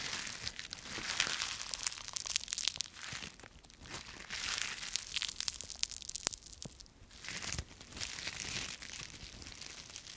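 A bunch of thin, brittle, dry yellow-green autumn leaves on a twig is crushed and twisted between both fists and fingertips. It gives dense, bright crackling, crumpling and tearing crunches that come in waves with brief quieter pauses, with almost no low end.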